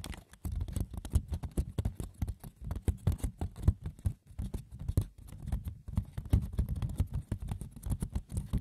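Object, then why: Woven wicker basket. A woven wicker basket's textured surface is scratched and tapped with the fingers, with no talking. A dense patter of light, dry clicks and rough scratches comes in quick irregular bursts, with most of the energy low and dull.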